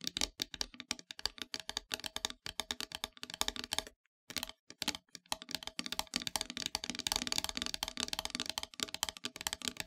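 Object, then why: Painted wooden heart plaque. Long, pointed metallic nails tap and scratch the surface of a flat, solid, dark painted wooden heart-shaped plaque, making rapid, dry, bright clicks with almost no ring. A short silent pause comes around four seconds. After that the tapping resumes and gives way to denser, hissy scratching.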